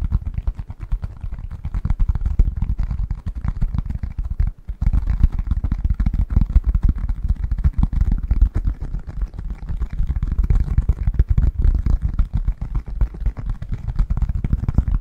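Fingertips and nails tap and scratch the textured surface of a thin, flat, yellow honeycomb beeswax sheet about A4 size, held in both hands. The result is a dense, continuous stream of soft, dull, low thumps and rustles with almost nothing bright, pausing briefly around the middle before carrying on steadily.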